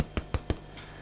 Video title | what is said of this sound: Self-Sufficient in Suburbia Mid Winter 2013 | if you hear me tapping on it nice Hollow sound to it which means this is definitely ready